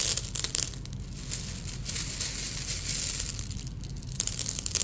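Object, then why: Pile of fired red clay balls. A bare hand with fingers spread presses into a large bed of small, solid, marble-sized fired red-clay (hwangto) balls covering a jjimjilbang floor, rubbing and stirring them. The balls roll and click against each other in a bright, crunching rattle. Dense bursts at the start and end frame a softer, steady churning in the middle.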